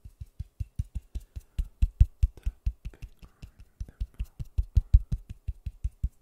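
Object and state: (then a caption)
Styrofoam ball tapped. A large white styrofoam ball, cupped in white-gloved hands, is tapped and patted with gloved fingertips beside a microphone. About 35 quick, soft, low thuds follow in a fast, uneven rhythm, each dying away almost instantly with a faint papery brush between them.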